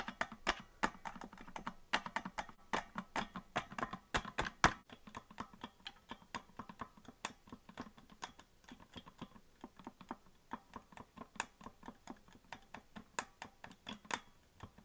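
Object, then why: Plastic melodica keys. Fingertips tap the plastic keys of a hollow green plastic melodica that is not being blown, making a steady stream of dozens of quick, dry clicks. Each click is short and sharp with little ring, centered around 1 kHz with a bright edge.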